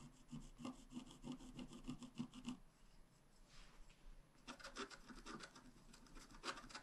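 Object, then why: Wax-coated scratch-art card scratched with a wooden stylus. A wooden stylus tip scratches a flat, black wax-coated scratch-art page, a thin solid card about A5 size lying on a table. Quick, fairly regular scratchy strokes run for about two and a half seconds, each a short dry rasp with a low-mid body and bright streaks above. After a quieter stretch of softer scraping, brisk scratching picks up again.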